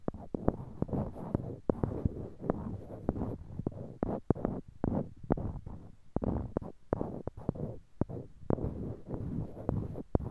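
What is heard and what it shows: Small, solid, light-colored wooden cubes are held in pairs in each hand near a binaural mic while fingertips click and knock one block against another. A rapid, irregular run of sharp, dry clicks with almost no ring sits over a soft, low, muffled rustling bed.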